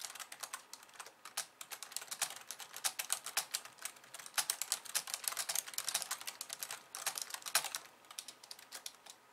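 Long nails type with both hands on a pink plastic slim computer keyboard with white keys, making a steady stream of quick, bright plastic clicks. The clicks are sharp and dry with almost no low end, fading quickly in uneven bursts of faster and slower typing.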